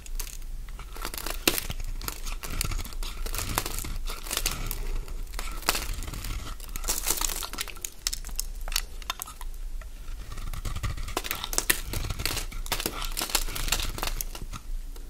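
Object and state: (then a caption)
Bar of soap being shaved. A metal blade shaves crunchy flakes from a solid cream Fa bar of soap held in the hand, the shavings piling up below. A dense run of dry, crinkly scraping crunches with bright edges repeats steadily over a low background rumble.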